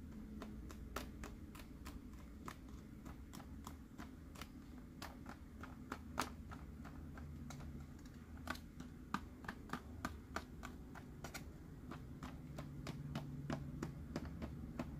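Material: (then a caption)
Plastic. Fingernails tap quickly on the body and base of a green, hollow plastic Mike Wazowski sipper cup. The result is a steady stream of short, dry clicks with bright, sharp tops over a quiet low background hum.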